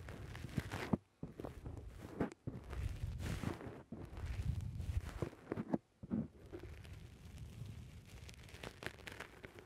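Fingertips press and squish a black rounded foam windscreen on a microphone, making muffled, bassy crunching and rustling bursts that sit mostly in the low range. The squishing comes in dense stretches broken by a few brief near-silent gaps, with occasional louder thumps as the foam is pressed.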